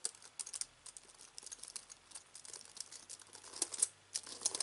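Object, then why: Aluminium and plastic computer keyboard. Fingertips of both hands type continuously on the white keys of a slim aluminium and plastic wireless keyboard resting on fabric. A steady run of soft, quick, bright clicks and taps with almost no low end, each dying away almost instantly, with a few sharper louder strokes near the end.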